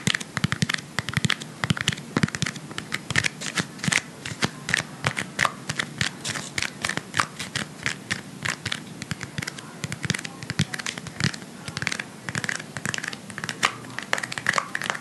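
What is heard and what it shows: Fingertips with short painted nails press and scratch the surface of blue Playfoam, foam beads in a sticky binder, packed into a palm-sized round clear plastic tub held in both hands. A steady stream of rapid, crisp crackles and sticky clicks pops with bright, dry snaps that die away instantly, over soft low thumps from the pressing.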